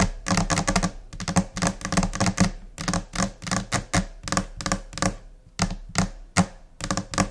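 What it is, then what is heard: Laminate desk top. Long painted nails of both hands tap quickly on a large, solid, flat white desk top, likely laminated particleboard, though the material is uncertain. The crisp, bright clicks come in scattered, irregular bursts over a low, hollow thud. Each tap dies away almost immediately.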